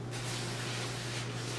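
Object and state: Nothing is struck.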